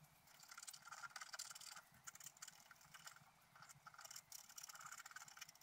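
A pointed wooden stylus scratches the coating off a flat, black, wax-coated scratch-art paper sheet, about A4, lying on a white table while the other hand holds the sheet flat. The result is quiet, bright, dry scratching in short rapid bursts of strokes with brief pauses between them.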